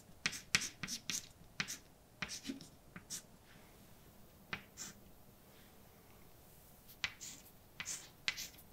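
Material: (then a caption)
Chalk. A hand writes letters with white chalk on a large, dark chalkboard with a flat, solid surface, making quick, bright taps and short scrapes. About fourteen sharp strokes come in irregular bursts, with a quieter pause in the middle before the writing resumes.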